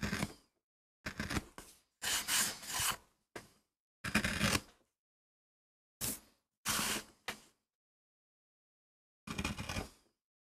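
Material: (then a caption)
MDF. A wooden-handled gouge carves short strokes into a solid, flat MDF relief printing block while a bare hand steadies the board, with playback sped up 2x. Bright, dry scraping and cutting bursts come in separated clusters with short silent gaps between strokes.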